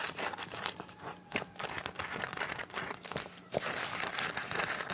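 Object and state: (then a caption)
Soft plastic pouch. Long nails scratch and tap the surface of a clear, soft PVC zip pouch with teal print and a zipper edge. The result is a dense run of crinkling, crackling scratches broken by sharp bright taps, with the loudest snap coming about three and a half seconds in.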